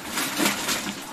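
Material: Nothing is struck.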